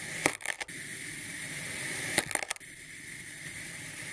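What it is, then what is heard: Kinetic sand being sliced. A hand-held ceramic-bladed kitchen knife slices thin slabs from a solid molded block of olive-green kinetic sand with a swirled pink and purple core, the slices folding and piling up on a white surface. Two short bursts of crumbly, gritty crunching rise over a steady bright hiss, each dying away almost at once.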